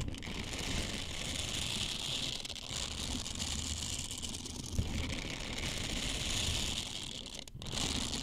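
Small, flexible blue silicone bristle scrubbers are squeezed, bent and rubbed by fingertips close to the mic. The result is a steady, dense rustling and crinkling texture, bright in the highs with a soft low rumble underneath. A brief drop comes near the end before the sound resumes.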